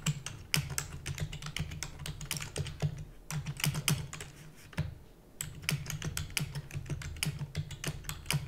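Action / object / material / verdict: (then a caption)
tap / plastic computer keyboard / plastic / none. Rapid typing with fingertips and long natural nails on a full-size black plastic computer keyboard with plastic keys and a hollow housing. Quick, bright clicks and clacks come in dense bursts, with brief lulls around the three- and five-second marks. A steady low hum runs underneath throughout.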